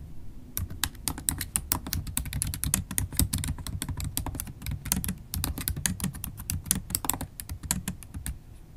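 Rapid typing with long acrylic nails on a MacBook Pro keyboard, its black plastic keys set in an aluminum laptop body. A dense stream of sharp, bright clicks and taps rides over a low, steady rumble, each keystroke dying away almost instantly.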